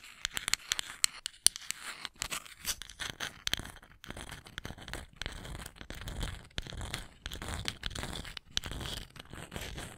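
Long acrylic nails scratch and tap the bowl and handle of a small, solid, light wooden cooking spoon held close to the mic. Sharp, dry clicking taps open the clip, then give way to continuous bright, rasping scratches in uneven bursts. Each tap dies away almost instantly with no ring.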